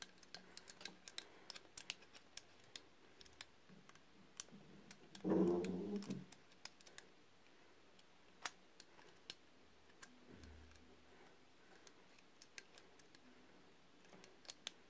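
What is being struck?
Solid bar soap.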